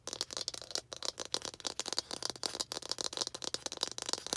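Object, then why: Small plastic toy ball. Long green acrylic nails tap and scratch a small hollow red plastic toy ball with baseball-style stitching, held in both hands. A quick, uneven run of dry, bright clicks and scratchy rattling follows, each tap dying almost instantly with hardly any low end.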